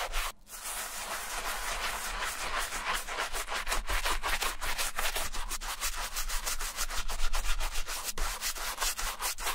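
A white leather Adidas Stan Smith sneaker with a green heel tab is held in the hand while its soapy heel and toe upper are scrubbed with a wooden bristle brush. Quick, steady back-and-forth strokes make a continuous bright, bristly scratching after a brief pause at the start.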